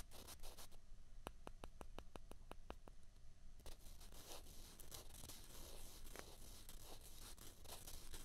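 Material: Plastic.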